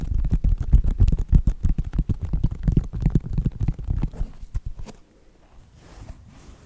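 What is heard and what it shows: Fingertips and nails tap rapidly on the synthetic leather upper and purple foam sole of a white Nike sneaker, producing a dense run of dull, low thuds. The tapping holds steady for about four seconds, thins out, and stops near the five-second mark, leaving a faint low rustle.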